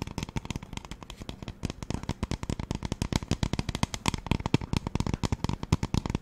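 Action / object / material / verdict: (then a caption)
tap / plastic spray bottle / plastic / none. Long nails tap rapidly on the body of a hollow pink plastic spray bottle. About 47 quick, dry, hollow knocks with a low, boomy body come in an uneven, steady stream, each dying away almost instantly with no ring.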